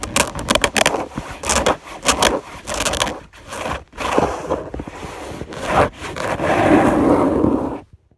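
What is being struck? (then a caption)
Fabric bed sheet. Long nails scratch across a white fabric bed sheet on a bed, heard up close. Quick, bright scraping strokes and rustles come in uneven bursts, ending with a longer, steady rasping scratch before cutting to silence.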